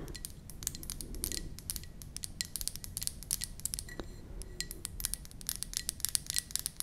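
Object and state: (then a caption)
Ceramic mug. Long nails tap and scratch the glazed outside of a white ceramic mug with a flower print, held in both hands. Dozens of quick, bright clicks with a dry scraping texture ring out over a soft low rumble. Each tap dies away almost instantly.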